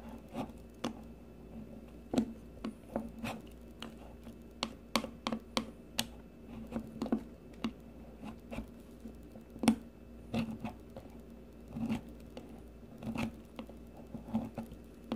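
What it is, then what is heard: Bar soap being shaved. A metal blade on a blue peeler shaves a shrinking solid green bar of soap in a series of short, dry scraping strokes. The strokes come as quick separate bursts with brief crisp edges over a steady low hum.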